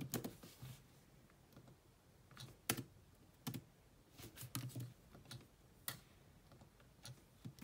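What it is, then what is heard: Laptop keyboard with plastic keys. Long nails type on the black plastic chiclet keyboard of a grey laptop, producing key taps. Short, sharp clicks with bright ticking tops and a soft low thud arrive in irregular bursts, separated by quiet pauses. Each tap dies away almost instantly.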